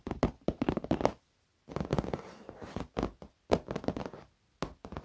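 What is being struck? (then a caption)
Padded leather office chair. Fingertips and short nails of both hands tap quickly on the padded top edge of a black leather office chair. The taps are soft and dull, with a muted low-mid thump and very little brightness, each dying away almost at once. They come in rapid bursts separated by brief silent pauses.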